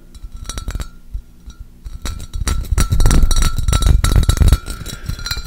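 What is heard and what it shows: A medium, empty, clear pressed-glass pitcher with an embossed pattern is held in one hand and tapped with the fingertips and nails of the other. It makes a quick, irregular run of bright glassy clinks over dull, hollow low knocks. A faint ringing tone lingers between taps, and the tapping grows louder and denser in the middle before easing off.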